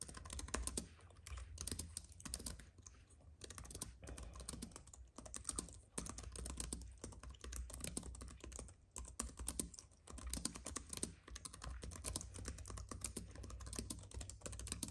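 Both hands type steadily with the fingertips on a slim white wireless keyboard with plastic keys on a silver aluminum base, lying on a dark fabric mat. The result is a quiet, continuous stream of rapid, short, crisp key clicks with bright tops, over a steady low rumble.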